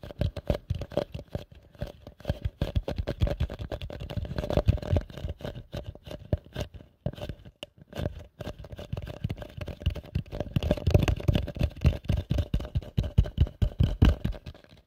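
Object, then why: Plastic bowl. A hollow, empty pale yellow plastic bowl, held upside down over the mic, is tapped fast with fingertips and nails. The result is a dense, continuous patter of soft, low, hollow thuds with short, dry decays, easing briefly around the midpoint before picking up again.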